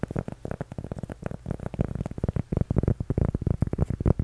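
A flat, solid, toast-shaped cork coaster is held in both hands and tapped and scratched with fingertips and nails. About 23 quick, soft, dull taps come in an uneven run. Each is low and muffled, with a faint hum around 117 Hz, no bright edge, and no ring after it.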